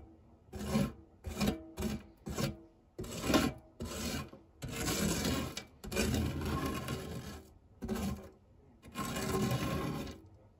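A silicone spatula scrapes and rubs the textured base of a fluted non-stick metal tart tin scattered with crumbs. It makes a series of short, raspy scraping strokes, then longer rubbing passes, each a dry, gritty, broadband sound with a brighter top edge.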